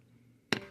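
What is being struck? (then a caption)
Rubber tire struck with a wooden thumper. An old mounted rubber tire is struck once with a walnut tire thumper to check the tire by its sound. Low background hiss is broken by one short, sharp knock that decays quickly with a faint ring.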